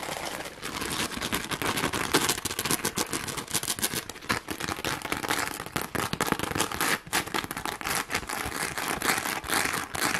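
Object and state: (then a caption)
Plastic rhinestone sheet. A pink plastic rhinestone sheet is held in both hands while long glittery nails scratch quickly across its gems. The result is a dense, continuous run of bright, crackly scratching and rapid clicking that lasts about ten seconds, with little low end and short, dry ticks that barely ring.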